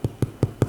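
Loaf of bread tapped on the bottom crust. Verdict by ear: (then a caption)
Hollow. A freshly baked homemade loaf of bread, just turned out of its pan, is tapped four times on the bottom, giving short, low, hollow thumps with almost no ring. The hollow sound is one sign the bread is done, and the loaf is confirmed fully baked at 193°F, within the 190–200°F range for done bread.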